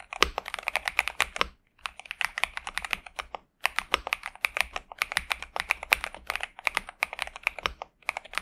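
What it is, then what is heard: Mechanical keyboard with plastic keycaps. A pink and purple 65% Xinmeng M71 mechanical keyboard with TTC Superman switches and plastic keycaps, resting on a desk mat, is typed on continuously with the fingertips of both hands. Rapid, crisp, bright clacky keystrokes with very short decay fill the clip, pausing briefly around 1.6 and 3.5 seconds.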